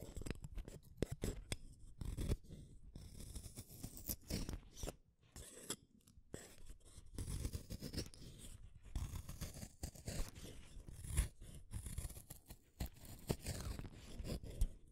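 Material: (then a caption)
Wood. A small metal blade held in a yellow holder shaves a solid blue wooden colored pencil, peeling off long wood curls. The clip is a steady run of close, dry scraping strokes with crisp crunchy rasps, weighted toward a low, thumpy body with faint high hiss. Each stroke ends abruptly with almost no ring.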